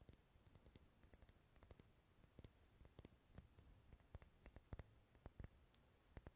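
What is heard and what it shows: Wax candles sitting in a bowl as decoration, rarely lit, are tapped in a long, steady run. The taps give dense, short, dry clicks with a low thump and a bright tick on top, each dying away almost at once.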